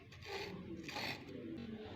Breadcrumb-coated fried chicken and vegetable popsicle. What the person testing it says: hear the sound of how crispy they have become